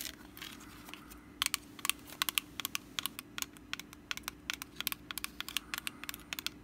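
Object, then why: Small woven rattan pumpkin basket. Long black acrylic nails scratch and tap across the woven top of a small, hollow, orange rattan/wicker pumpkin basket held in hand. Around thirty crisp, bright, dry clicks come in quick, uneven bursts over soft scratchy rustling, with each tap dying away almost instantly. A faint steady low hum runs underneath throughout.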